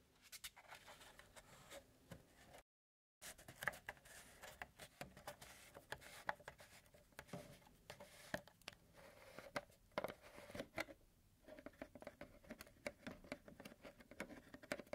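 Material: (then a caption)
Plastic. Fingertips and nails tap and scratch a large white plastic milk jug with a yellow cap, held in one hand, near the cap. Quick, dry plastic taps with almost no ring mix with soft, bright scratching in a steady irregular patter, broken by a brief silence near the three-second mark.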